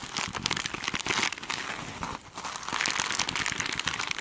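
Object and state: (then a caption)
Glitter mesh sponge. Long nails scratch the glittery side of a hand-sized foam sponge with a sparkly mesh cover, held in one hand. The result is a dense, bright crinkling and crackling with rapid scratchy ticks, easing briefly just after the two-second mark before picking back up.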